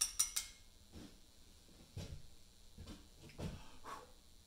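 A small mallet taps a chisel against a large, solid Portland limestone memorial block. Three sharp, bright metallic clicks open the clip in quick succession. Softer, duller knocks follow at a slower pace.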